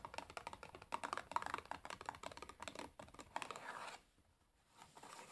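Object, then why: Cardboard matchbox full of matches. Long nails tap and scratch the printed top of a large, closed cardboard matchbox full of matches lying on a table. Quick, dry clicking taps mixed with scratchy rasps continue for about four seconds, then pause briefly before faint tapping resumes. The sound is quiet and crisp, centered in the midrange with little low end.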